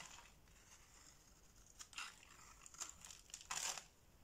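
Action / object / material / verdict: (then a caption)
scrape / soap bar cut with a blade / soap / none. A box-cutter blade scrapes and slices thin flakes from the scored face of a solid orange bar of soap held in the palm. Quiet, bright, crinkly scraping runs throughout, broken by a few louder slicing strokes toward the end, with the strongest coming last.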